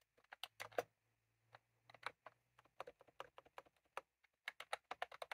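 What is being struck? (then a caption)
Plastic keyboard with round keycaps. Fingertips of both hands type on a white/cream plastic retro computer keyboard with round typewriter-style keycaps, resting on a desk. Quick, dry plastic clicks come in uneven bursts with short pauses between them. Each keypress has a mid-pitched clack and a bright edge and stops almost instantly.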